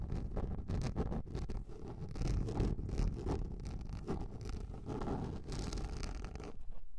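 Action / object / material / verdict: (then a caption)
scrape / plastic container lid / plastic / none. Long nails scratch a large round yellow plastic container lid, making a continuous rough, rasping scrape. The sound is dense and low-heavy with faint bright streaks. It fades out at the end.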